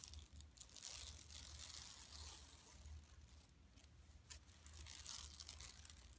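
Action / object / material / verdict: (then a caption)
scrape / woven plastic mesh bag / woven plastic / none. Long nails scratch and rub across a flat, empty yellow woven plastic mesh shopping tote lying on carpet. The result is a steady, bright, crinkly rasping, with faint tearing-like scrapes, over a low, soft hum.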